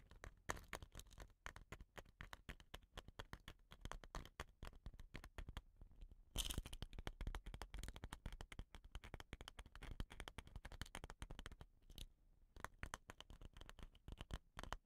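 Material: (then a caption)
Wood. Long nails scratch rapidly along the dotted painted surface of a hollow, dot-painted wooden rain stick held at an angle. The result is a dense, continuous crackle of quick dry scratches and clicks with a low, thumpy body, a louder, brighter burst around the middle and a brief lull near the end before the scratching resumes.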